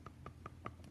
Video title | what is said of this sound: Plaster Mold Unity Hands | you can hear that it's nice and hard